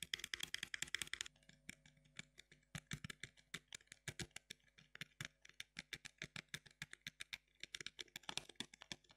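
A closed, small printed cardboard box of sugar-free chewing gum (10 pieces) is held in both hands and tapped with long fingernails across its front face. Dozens of quick, crisp, bright clicks follow, with fast flurries at the start and end and more evenly spaced taps in between. Each tap dies away almost instantly.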